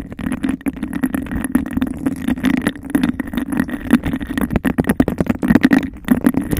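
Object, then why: Textured glass cup. Long nails rapidly tap and scratch on a clear, hollow, empty bubble-textured glass cup held over a microphone. The result is a dense, fast stream of clicks and rasping scrapes over a hollow resonance near 250 Hz, with a faint tone around 2 kHz. Each tap is short and dies away almost at once.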